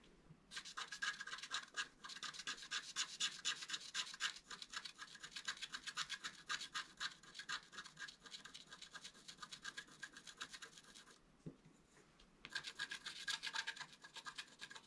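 A wooden stylus held upright scratches dense, short strokes into the black coating of a flat scratch art card. The result is a bright, dry rasping that comes in rapid, fairly steady bursts of about four strokes per second. The scratching quiets briefly near the end before resuming.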